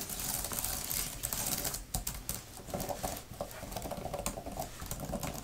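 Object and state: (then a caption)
Plastic keyboard cover. Long nails type and patter on the flat plastic keys of a thin grey plastic laptop type-cover keyboard. The result is a dense, continuous stream of light, crisp clicks and taps with a bright upper edge and a soft low thud beneath.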